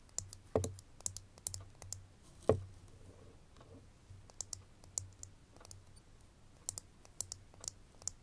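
Fingernails tap a small ridged glass perfume bottle, full of liquid and fitted with a metal label band and a fabric ribbon, which is held in the other hand. Light, bright clicks come in an irregular pattern and die away almost instantly, with two louder taps carrying a dull low knock. A faint low hum runs underneath throughout.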